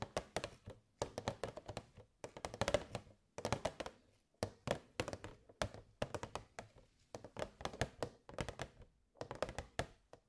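Long grey nails tap quickly on the sides of a hollow, rectangular, transparent plastic box with purple fairy lights inside, held in both hands. The taps come in rapid bursts separated by brief pauses. Each one is a short, hollow plastic click with a faint bright edge and almost no ring.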